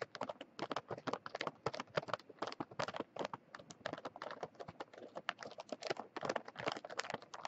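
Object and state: Plastic cookie package.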